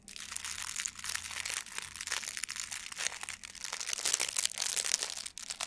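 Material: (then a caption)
Plastic foil. A blue metallic plastic ribbon gift bow is squeezed and crinkled with both hands. It makes a continuous, dense, bright crinkling with rapid crackles that swell and fade, and almost no low end.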